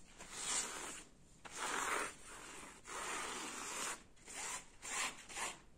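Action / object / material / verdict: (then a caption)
scrape / woven jacquard fabric curtain / woven fabric / none. Fingers scratch and rub a gold jacquard fabric curtain hanging in folds, making dry, hissy scraping strokes on the woven cloth. The strokes come in uneven bursts with brief quiet gaps between them.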